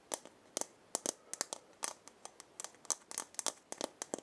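A hollow round wooden or gourd maraca head with burned markings, held in the hand, is scratched with long painted nails. Quick, dry, bright scratching taps come in an irregular run of about nineteen short strokes with no ring afterward, and there is almost no low end.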